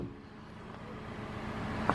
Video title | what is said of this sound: Toyota Corolla Gli 2017 - pontos negativos, detalhes, impressões - www.car.blog.br | você bate a porta e você ouve um barulho de chapa e vibrando significa que ela não transmite aquela sensação de solidez